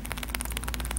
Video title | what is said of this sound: Velvet Tamarind Review (Dialium indum) Weird Fruit Explorer Ep. 144 | if you shake it you hear like the little seed like shaking around